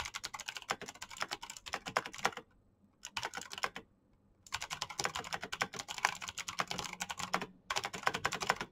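Fingertips type fast on a black plastic backlit mechanical keyboard, producing a dense run of crisp, bright clicking keystrokes with short, dry decays. The typing stops briefly twice near the three- and four-second marks, with one more short pause near the end, and resumes each time at the same rapid pace.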